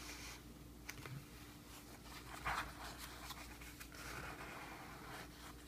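Fingertips of both hands tap and scratch across the paper shipping label and surface of a medium, closed, hollow corrugated cardboard mailing box resting on a wooden sill. Quiet, dull taps and dry scratchy rustling sound over a steady low hum.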